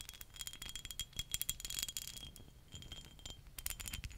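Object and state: Glass perfume bottle tapped and scratched with nails.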